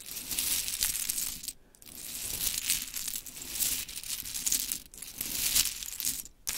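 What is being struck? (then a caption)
Small wooden clothespins on cloth. Long chrome nails rake and tap a scattered pile of small pink wooden clothespins lying on sparkly cloth. The result is a dense, bright clicking and rattling, heard in three sustained stretches broken by short pauses.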